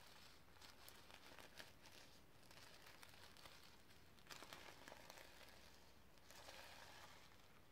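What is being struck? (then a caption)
Sequin-covered notebook scratched with fingernails. Long red nails scratch across a sequin-covered notebook lying on a leather book. The result is a quiet, bright, crinkling rasp that comes in uneven bursts, with louder surges around the middle and near the end over a faint low rumble.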